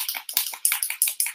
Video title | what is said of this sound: Let's Play with Some Courageous You Floral Stamps! (Live Replay) | so i'm going to shake this until i can hear that ball rattling